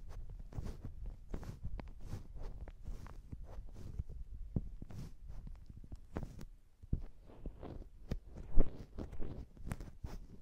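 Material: Polyurethane foam.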